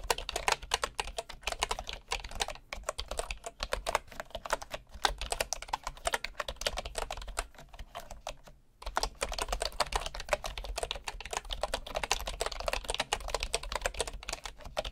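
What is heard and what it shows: A right hand types with its fingertips on the wooden keys of a bamboo keyboard, producing a steady stream of short, crisp clacks with a bright top. The clacks sit over a faint low hum, with a brief pause just before the 9-second mark before the rapid typing resumes.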